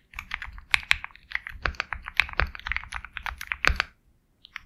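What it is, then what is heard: Mechanical keyboard with plastic keycaps. A compact 65% Sugar65 mechanical keyboard with KTT Kang White switches, a black case, and white and black plastic keycaps is typed on steadily with the fingertips. About 26 short, bright clacking keystrokes with almost no ring and a little low thud underneath are heard. The typing stops just after the four-second mark, followed by a brief pause and a couple of faint final taps.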